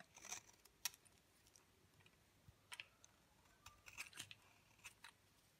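A thinning, dry, pale green bar of soap is held in the palm while a utility knife blade shaves flakes off it. The result is a series of quiet, short, dry, bright scraping crunches with brief pauses between them and no ring.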